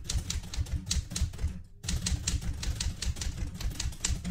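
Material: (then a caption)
Metal. A light blue vintage portable manual typewriter with a metal body is typed on with fingertips, giving a steady run of sharp, dry key strikes. Each strike pairs a low thump with a bright click and dies away almost at once. Near the middle the typing stops for a brief silence, then resumes at the same pace.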